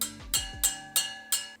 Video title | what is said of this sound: The Easiest Way To True Motorcycle Wheels! | The spoke is completely loose I can just turn the nipple by hand and it's gonna have a pretty dead sound to it